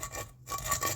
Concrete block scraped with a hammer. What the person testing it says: This one is not so bad at all as it relates to that test.